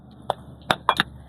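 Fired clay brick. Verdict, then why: Poor quality. Two fired clay bricks are dropped in a T shape from about 1.5 m as a field quality test, and the upper brick breaks on impact. Four short, dry cracking knocks are heard with almost no ring, not a metallic tone. The brick fails the test and is judged a second-grade brick.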